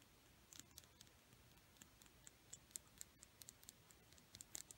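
A single small, solid, dark red painted wooden Crayola colored pencil is tapped and scratched with long painted nails. The sound is a quiet, scattered run of short, dry, bright clicks and ticks with faint scratching between them. The clicks fall at irregular intervals and are slightly denser and louder near the end.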